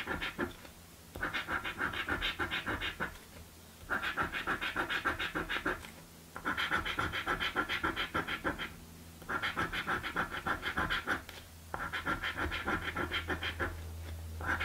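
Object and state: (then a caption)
Paper scratch lottery ticket being scratched. A coin scratches quickly across the coating of a blue paper scratch lottery ticket in repeated bursts of rapid strokes, separated by short pauses. The sound is a dry, bright rasp centered around the mid range, over a faint low hum.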